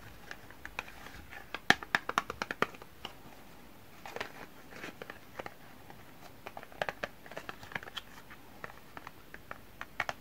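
Fingertips rub and scratch along the surface and edges of a small printed cardboard soap box while turning it over. Dry, papery scratches and sharp little ticks come in quick, irregular bursts over a quiet background, with brief brighter crinkly swells in between.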